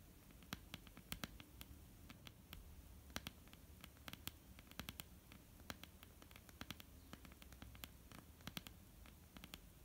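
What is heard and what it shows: Long, almond-shaped painted nails on both hands tap across a flat, solid wooden tabletop with visible grain. The result is a quiet, irregular patter of short, dry, bright clicks over a soft low hum, with each tap dying away almost instantly.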